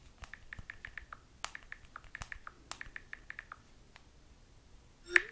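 Long nails tap repeatedly on the glass touchscreen of a small handheld smartphone, possibly in a silicone case, held in one hand. The result is a quick run of light, dry clicks centred near 1.8 kHz with bright edges and almost no low end. A short pause is followed by one sharper, louder tap with a brief ringing tone.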